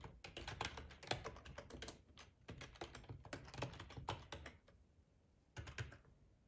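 Fingertips type on a hollow black plastic split ergonomic keyboard, tapping the keycaps in quick, irregular bursts of clicky clacks with a low thud under each press. The typing stops briefly near the end before a short final flurry.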